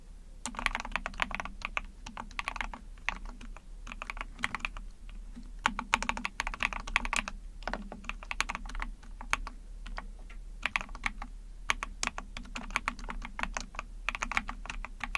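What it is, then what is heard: Plastic mechanical keyboard. Rapid typing on a small Epomaker TH40 44-key mechanical keyboard with an ABS plastic case, PC plate, pink and white backlit keycaps, pressed with long painted nails and fingertips. A steady stream of short, bright plastic clacks and taps comes in quick bursts over a faint low hum.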